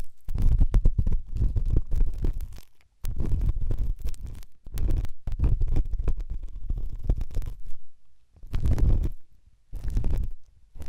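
A pen tip scratches and rubs inside the ear canal of a right white silicone dummy ear on a binaural microphone. The result is a deep, muffled rumbling and scraping made of dense, rapid strokes, with a few brief pauses between bursts.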